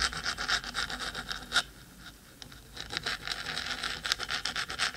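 Fingertips, then long stiletto nails, scratch quickly along the metal top of a 3Dio binaural microphone's hollow, black cylindrical metal housing. Rapid, bright, hissy scratching strokes repeat at about four per second, briefly fade into a quiet lull, and then resume just as busily.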